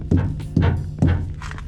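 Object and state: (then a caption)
Truck tires struck during a walkaround check. Rubber truck tires are banged during a pre-trip walkaround inspection, producing three dull, low thunks centered near 90 Hz. Each thunk has a short decay and little high-frequency content.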